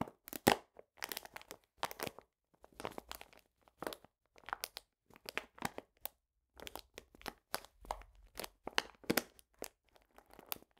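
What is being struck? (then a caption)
Paper bag of cane sugar. A medium printed paper bag full of cane sugar is squeezed and crinkled with fingertips and painted nails. It gives a quiet, steady run of sharp, dry paper crinkles and crunches, each brief burst bright and crackly with almost no low end.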